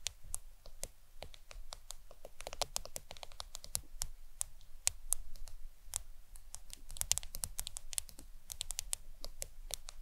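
Long acrylic nails tap rapidly on the glass screen of a black smartphone lying flat on a towel. The taps come as a steady stream of sharp, bright clicks that stop instantly with no ring. A low, soft rumble sits underneath throughout.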